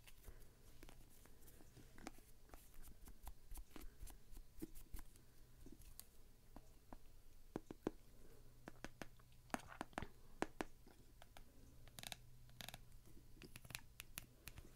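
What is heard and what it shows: A hand-sized, hollow, blue costumed vinyl rubber duck is held in one hand and scratched and tapped with a thin brush or stick tool held in the other, while long dark nails also touch it. The result is an irregular stream of soft, dry scratches and quick clicky taps with bright, crisp edges and no ring, over a steady low hum.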